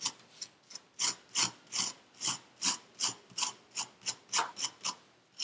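A metal needle tool rakes and scratches through purple kinetic sand packed into a paper cup, with crumbs on the table. Sixteen short, bright, gritty scraping strokes are heard at an uneven pace of about three per second, each crisp and dry with almost no low end and a quick fade.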